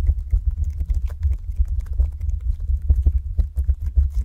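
A large, soft blob of blue glitter slime on a wooden cutting board is pressed, poked and squished by long acrylic nails in quick tapping motions. The result is a rapid, continuous run of dull, low, muffled squelches and soft pops with no ring, and only faint bright clicks above them.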